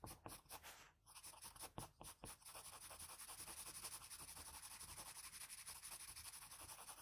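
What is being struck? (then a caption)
Graphite pencil on paper sheet. A blue wooden graphite pencil held in the fingers makes fine scratching strokes near the eye and nose of a graphite portrait on a flat sheet of drawing paper. Soft, bright, scratchy strokes come in a few separate bursts at first, then settle into a steady, rapid run of quiet back-and-forth shading.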